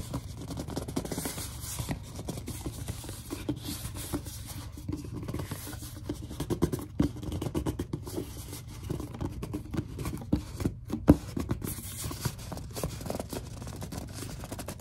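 A large, hollow white plastic Suave body lotion bottle is gripped to make it squeak, then scratched and tapped with long dark almond-shaped nails. The result is a steady, close run of low, dull squeaks and scratchy rubbing, scattered with quick soft taps and clicks. One sharper tap stands out near the end.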